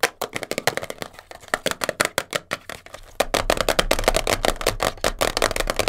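Long blue nails tap and scratch fast on a small, hollow, printed cardboard box of Elastoplast kinesiology tape, first held in the hands and then set on a fur rug. Quick, dry, papery clicks with a hollow midrange knock and a bright scratchy edge come in rapid bursts. Partway through, the taps grow louder and denser, with a low rumble underneath.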